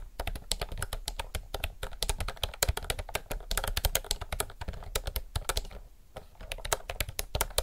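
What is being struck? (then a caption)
Plastic mechanical keyboard. Both hands type fast with their fingertips on a retro, typewriter-style mechanical keyboard with round plastic keycaps. A rapid, continuous stream of short, bright clicks and clacks rides over a soft low thump, with each keystroke dying away almost instantly. The typing eases briefly near the six-second mark, then picks back up.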